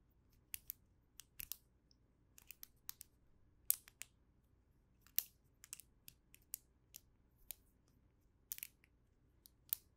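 A small chain of hollow red and green plastic links, a snap fidget toy, is folded and bent by the fingertips of both hands so its joints snap and click as it is formed into shapes and a loop. The result is an irregular series of sharp, bright, dry clicks with almost no ring, some in quick clusters, over a very quiet background.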